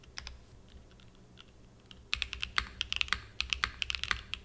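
A small 60% Frog mini mechanical keyboard with a purple aluminum case and cream and purple plastic keycaps, resting on a desk mat, is typed continuously with the fingertips. Faint, sparse key taps in the first two seconds give way to a quicker run of louder, bright, crisp clacks that stop sharply with almost no ring.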